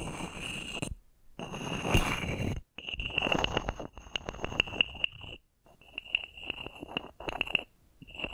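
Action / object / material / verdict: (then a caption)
scrape / carved wooden frog scraped with a wooden stick / wood / none. A small carved solid wooden frog toy with a ridged back is held in the hands while a wooden stick is rubbed and scraped along the ridges, with long painted nails nearby. It gives rasping, croak-like bursts of rapid clicks carrying a bright ringing tone near 2.8 kHz, separated by short silences.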